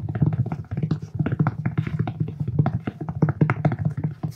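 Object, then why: Cloth-covered hardcover book. Fingertips and nails tap and scratch the textured cloth cover of a thick, solid black hardcover book held in the hands. The result is a fast, dense run of short, dull taps with low, muffled body and very little high-frequency content, mixed with soft scratching.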